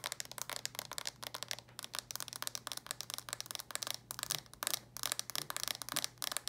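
Long nails tap rapidly on the lid and edges of a red plastic handheld game console held in both hands. The result is a quick stream of dry, bright plastic clicks with almost no ring, over a faint steady low hum.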